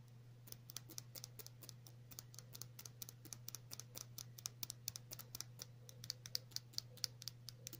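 A small clear glass nail polish bottle with a black cap, partly filled with clear polish, is tapped with long natural nails. A quick, uneven run of sharp, bright clicks dies away instantly, over a steady low hum.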